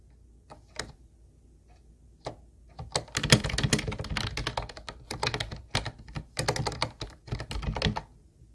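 Both hands type with their fingertips on a hollow, teal Ubotie plastic keyboard with round white plastic keys. A few isolated clacks open the clip, then from about three seconds rapid bursts of typing follow with brief pauses between them. Each keystroke is a short, bright click over a hollow low thunk that dies away almost at once.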